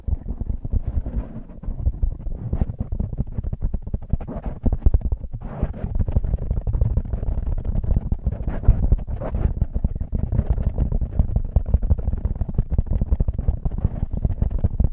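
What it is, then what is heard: Foam microphone windscreen being scratched and rubbed. A black foam windscreen on a microphone is scratched with nails and rubbed with the fingertips of both hands. The result is a dense, continuous low rumble of muffled scraping and brushing with rapid crackling textures, and almost nothing in the high range.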